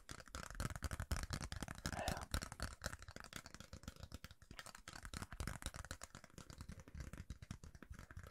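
Fingernails tap and scratch a thin, rigid yellow plastic referee card held in the hands. The result is a quiet, rapid, irregular stream of short, dry clicks and scratchy rustles with a soft low thump underneath and no ringing.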